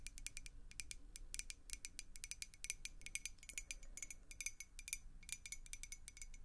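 Long acrylic nails tap rapidly on a clear glass beer mug with a handle and a blue logo, partly filled with water. The result is a quick, irregular run of short, bright glassy clicks ringing around 2.4 kHz, each dying away almost instantly over a faint low rumble.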